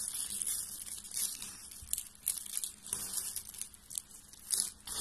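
A hand with long painted nails squeezes and crushes a loose pile of thin pink and green dry soap shavings on a table. Dense, bright crunching and crinkling keeps going throughout, with sharper crackling bursts as the flakes break apart.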